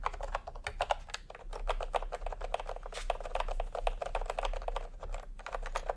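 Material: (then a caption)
Plastic. Fingertips type continuously on a full-size plastic typewriter-style computer keyboard with round retro keycaps in peach and cream, lying on a white cloth. A rapid, steady stream of short, dry plastic clacks with a mid-pitched tone, each tap dying away almost instantly over a faint low hum.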